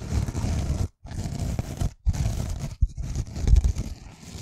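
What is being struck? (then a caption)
Foam kitchen sponge with abrasive scouring pad. A hand-sized, rectangular pink foam kitchen sponge with a green abrasive scouring layer, soft and porous, is held close to the mic while long painted nails scratch across its scouring side. Rough, raspy scraping strokes come in sustained bursts separated by brief silences, with a dense, low-heavy crackling texture.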